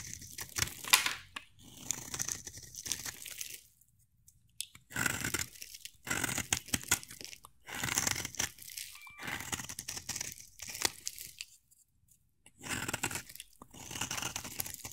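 A solid, hand-sized rectangular bar of pink soap, held in one hand, is scraped and carved with a utility knife blade, shaving off flakes. Bursts of crisp, bright scraping and crunching alternate with short quiet pauses.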